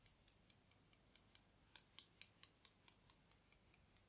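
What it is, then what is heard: Thin bamboo skewers clicking. Two long, thin, solid wooden bamboo skewers are held in the fingertips, crossed, and rubbed or scraped against each other. This produces 17 quick, dry ticking clicks in a steady rhythm, some louder and some faint. Each click is bright and high-pitched and dies away almost at once over a quiet background.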